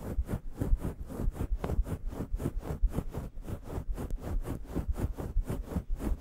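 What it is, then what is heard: Faux fur microphone windscreen being scratched. Long yellow nails scratch and scruff the grey fluffy faux fur windscreen on a microphone, making a steady stream of soft, muffled rustling strokes. The sound is deep and boomy, with almost no high end, and each brushing pass swells and fades in quick succession.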